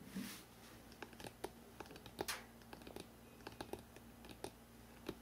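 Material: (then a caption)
Cardboard. Fingertips tap quickly on the spine of a hardcover book printed "NEW YORK," held horizontally. Short, dry, hollow clicks and taps come in an uneven, rapid patter, with a brief brushing scratch near the start and another partway through, over a faint steady low hum.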